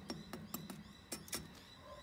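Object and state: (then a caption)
Baked-through damper, hollow sound. A wattleseed damper cooked on the barbecue is tapped six times to check whether it is done. Each tap gives a short, slightly hollow knock that dies away quickly. The hollow sound shows the bread is baked through.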